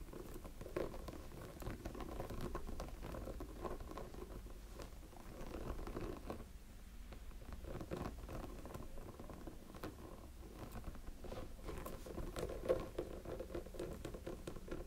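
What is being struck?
Small hollow silicone snowman figure.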